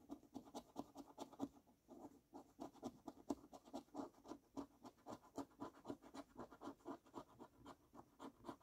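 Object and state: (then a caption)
Paper scratch card being scratched. A coin edge scrapes the latex coating off a thin paper £20 10x £250,000 Gold National Lottery scratch card resting on a wooden table. About 31 quiet, rapid, dry scratching strokes come in a steady rhythm, each short and rasping with a mid-range body and faint bright streaks.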